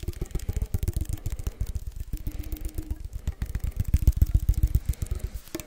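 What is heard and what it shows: A small hollow cylindrical metal can with a blue and white label, held in both hands, is tapped and scratched with fingertips and nails. It gives a rapid, uneven stream of dull, low, hollow taps with short faint scratches between them, and each tap dies away almost at once.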